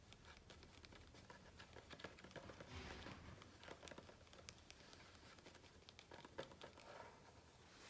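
The glossy coated paper pages of a large hardcover book, lying open on a grey floor at the same spread of jumpsuit photos, are tapped and scratched rapidly with the fingertips and short nails of both hands, over the hollow-backed stack of pages. The result is a quiet, dense, irregular patter of short dry taps and crinkly, bright scratches that runs steadily throughout.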